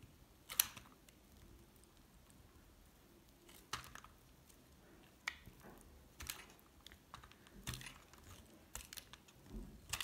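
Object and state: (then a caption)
Hard soap bar being cut. A solid mint-green hard soap block, held in hand, is repeatedly cut and shaved with a metal utility blade. Sharp, bright, crisp clicks and short scrapes come at irregular intervals over a quiet, faint background. Each cut snaps off almost instantly with no ring.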